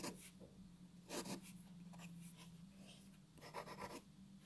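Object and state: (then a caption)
Paper sheet being shaded with a pencil. A graphite pencil shades a white paper sheet resting on a wooden table, making four quiet bursts of dry, rasping scratches with bright hiss. Softer scratching fills the gaps over a faint, steady low hum.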